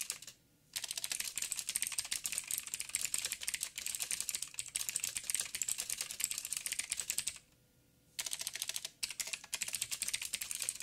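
Fingertips of both hands type rapidly on a backlit 87-key plastic mechanical keyboard with plastic keycaps and clicky blue switches. The result is a dense, bright, crisp clatter of short clicks with almost no low end. The typing pauses briefly near the start and again around the eight-second mark.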